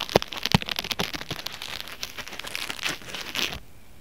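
Fingertips and short nails scratch and rub a soft, hollow-meshed white expanded polyethylene foam mesh fruit sleeve (a pear wrap) lying flat on a cutting mat. The result is an irregular run of dry, crinkly scratching and crackling, bright and airy, with a couple of sharper louder scrapes near the start. The sound stops abruptly after about three and a half seconds.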